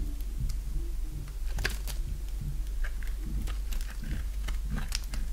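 A box-cutter blade carves a solid oval bar of dry green soap held in the hand, making short, crisp scraping cuts with bright edges. The cuts come in quick irregular strokes over a steady low hum.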